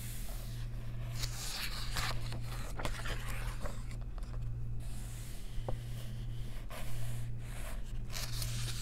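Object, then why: Paper coloring book pages. Long nails trace the printed text of an open paper coloring book and turn its pages, giving dry scratching strokes and crisp, bright paper flips and rustles over a steady low hum.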